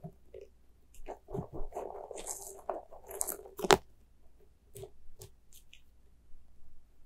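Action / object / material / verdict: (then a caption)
scrape / soft rubber spiky toy / rubber / none. A small white soft rubber spiky ghost squishy toy is squeezed and stretched with fingers and scratched with nails. Soft crunchy squishing and rubbery squeaks carry a steady mid-pitched tone, broken by bright scratchy bursts and one sharp, loud click. The sound fades to quieter, scattered squelches.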